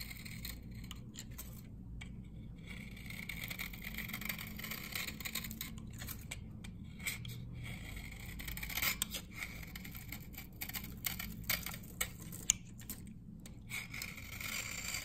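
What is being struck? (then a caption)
Glycerin soap bar scraped with a metal blade. A hand-sized, solid, old dry amber glycerin soap bar from 1978, held in one hand, has its surface scraped with a metal knife blade, raising fine dry shavings. A steady, bright, dry scraping hiss runs throughout, broken by brief gaps and a few sharp ticks, over a low background hum.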